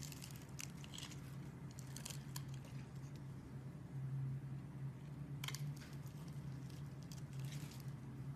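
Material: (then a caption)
Soap. A metal utility knife blade scrapes and carves the scored surface of a hand-sized solid pink bar soap held in the hand, breaking it into small crumbles. Soft, crackly, bright scraping bursts come in clusters early and again from about 5.5 to 7.5 seconds, over a steady low hum that dominates the quiet clip.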